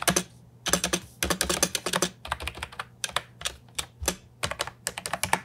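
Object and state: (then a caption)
Plastic keyboard with round keycaps. Fingertips type on a brown and white compact Ajazz 308I keyboard with round plastic typewriter-style keycaps, set on a wooden desk. Quick bursts of bright, clacky keystrokes alternate with short pauses, each stroke dying away almost instantly over a faint low hum.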